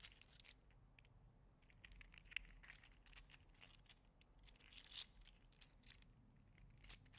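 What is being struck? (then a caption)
3D printed plastic articulated slug toy. A green/teal 3D printed PLA articulated slug toy is curled and bent in one hand, clicking its segments together. Quiet, dense, bright clicks and crinkly crunches ripple along over a low background rumble, with a couple of sharper snaps standing out.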